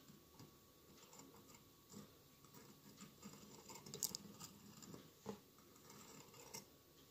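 Fingertips tap rapidly on the glass tiles around the sides of a hollow mosaic glass candle holder with a lit candle inside. The quiet, uneven taps land as short, bright clicks and ticks that die away almost at once over a soft, hissy background.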